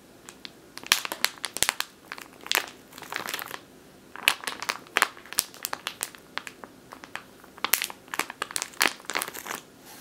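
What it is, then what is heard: Plastic bag of flour. A full plastic bag of flour resting on a table is scratched and tapped with long nails, then gripped. Bright, dry crinkling comes in quick sharp bursts and short rustling runs separated by brief pauses, with no low rumble.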